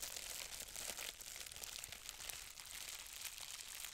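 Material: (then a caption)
Plastic. A loose sheet of green plastic bubble wrap with hollow air bubbles is held in both hands and crumpled and squeezed by fingers with long red nails, popping the bubbles. The result is a steady, bright crinkling with many small, sharp pops and crackles, all high with almost no low end.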